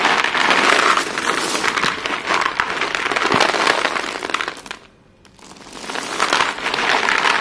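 Bare hands dig into a large heap of short, solid white chalk sticks on a blue surface, scooping handfuls and pouring them back onto the pile. The pieces clatter and crunch together in a dense, bright, continuous rattle. The rattle briefly falls almost silent around the five-second mark, then builds back up.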